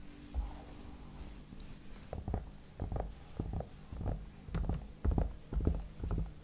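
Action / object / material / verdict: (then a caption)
tap / soft vinyl mannequin head / vinyl / none. Fingertips and short nails tap and rub the cheeks and temples of a hollow, soft vinyl/plastic mannequin head with a painted face, held up close. The result is a quiet, loose series of soft, dull thumps, roughly two per second, mostly low in pitch with almost no brightness. Each tap dies away at once, with faint rubbing in between.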